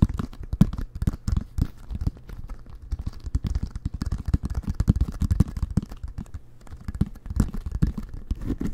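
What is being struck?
Inflated leather american football.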